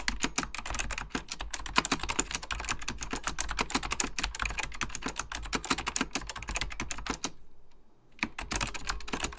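Fingertips type rapidly on an Apple Extended Keyboard II, a plastic mechanical computer keyboard with beige plastic keycaps and a hollow plastic case. The result is a dense stream of sharp, bright key taps. Typing pauses briefly near the end, leaving a faint low hum, and then resumes.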